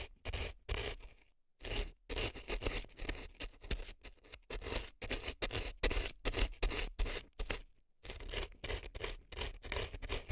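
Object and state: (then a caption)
Dry floral foam scraped with an earpick. A reddish-brown earpick scrapes inside the canal of a left silicone elf ear packed with dry floral foam, making crisp, crunchy scratching strokes. Short bursts repeat irregularly at about two to three per second, bright and gritty across the spectrum with a low rumble underneath. A few brief pauses fall between groups of strokes.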